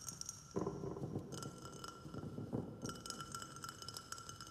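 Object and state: Glazed ceramic plant pot.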